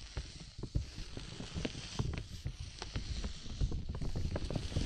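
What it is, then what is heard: Clear plastic dome umbrella. A large clear plastic bubble umbrella canopy over the microphone is tapped with fingertips, then scratched and rubbed from the side by hands. It makes dull, low, hollow thumps that die away almost at once, followed by a steady scratchy rustle over the plastic with faint bright hiss on top.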